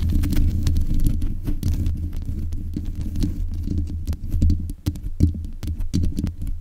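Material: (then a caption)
Metal mesh. Long nails scratch and tap the top of the hollow mesh grille on a black metal desk microphone. A dense, low, throbbing rumble runs throughout, broken by sharp, bright clicks and scratchy patter as the nails strike and drag across the metal mesh.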